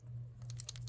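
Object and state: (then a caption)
Small bottle with a mixing ball rattling inside. A SheGlam liquid contour/bronzer bottle with a sponge-tip applicator is shaken, and the mixing ball inside rattles with quick, bright clicks in the second half of the clip over a steady low hum. The ball agitates the product and re-moistens the sponge-tip applicator.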